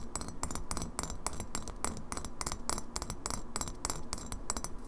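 Long fingernails tap quickly on the bottom and lower side of a partly filled glass kombucha bottle tilted sideways. The result is a rapid run of short, bright glassy clicks with a high ring that dies almost at once, over a steady low background rumble.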